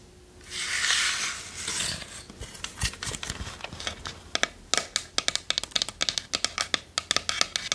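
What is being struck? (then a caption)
Small wooden chest with metal corners. Long nails scratch and tap a small hollow wooden treasure chest with metal corners and a latch, working over its sides and lid. A bright, hissy scratching swells and fades over the first two seconds, then gives way to scattered light scrapes and a quickening run of sharp, dry taps with almost no ring.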